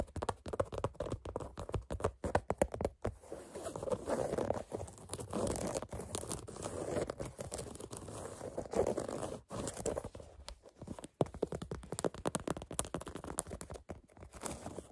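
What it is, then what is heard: Canvas sneaker upper scratched with fingernails. Long fingernails scratch the black canvas upper of a sneaker near the eyelets. The result is a dense, dry rasping with rapid crackly strokes, a steadier stretch of continuous scraping in the middle, and brief pauses between bursts.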